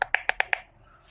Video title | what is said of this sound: Saya Bongkar & Analisis Ringkas Bateri Dari TOTAL 4Ah P20S Battery Pack | Solidlah plastik dia eh. Dengar ketuk pun boleh tahu eh. Solidlah.